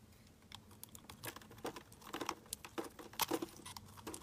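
A utility knife blade shaves and scrapes curls off a round, palm-sized pink Duru soap bar with a white core, held in the hand. The result is a quiet, rapid series of crisp, dry scratches and ticks with bright, high crackle and almost no low end. Each brief scrape dies away at once.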